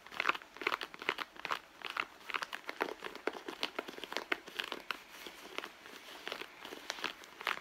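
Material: Leather.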